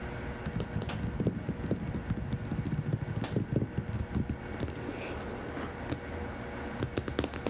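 Long manicured nails and fingertips of both hands tap and scratch the glossy laminated cardboard cover of a large, thick, closed hardcover herpetology book lying flat and solid on a table. The result is a steady, busy stream of soft, dull clicks and scratchy rustles, mostly low and muffled, with occasional brighter nail ticks that die away almost instantly.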